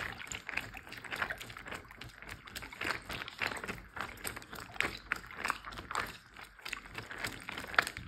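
A large clear plastic Ziploc bag full of water is tapped with fingertips and nails. Quick, soft taps and crinkly clicks run steadily throughout, each with a short watery slosh centered in the mids and a bright plastic edge. The sound stays quiet and close, with little low end.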